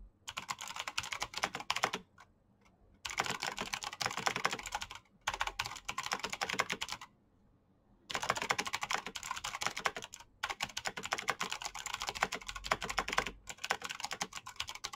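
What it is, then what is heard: Plastic mechanical keyboard. Fingertips type fast on a black plastic mechanical keyboard with clicky switches, making dense, bright, crisp clicks. The typing comes in rapid bursts broken by brief silent pauses.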